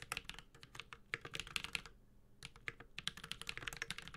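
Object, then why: Mechanical keyboard with aluminium case and plastic keycaps. A Space65 Cybervoyager 65% mechanical keyboard with a white-gold aluminum case, carbon fiber plate, Holy Panda tactile switches and plastic keycaps is typed on steadily with the fingertips of both hands. Quick, bright, clacky keystrokes come in a rapid run, pause briefly near the middle, then resume, each click dying away almost instantly.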